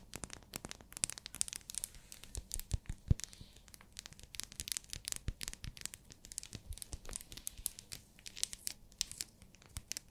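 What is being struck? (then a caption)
Glycerin soap bar in plastic wrap. Long nails tap and scratch a small, solid, pink translucent glycerin soap bar wrapped in plastic. Quick, sharp, dry clicks and scratches come in a dense, uneven stream over bright plastic crinkling. The sound stays quiet throughout, and each hit dies away almost instantly.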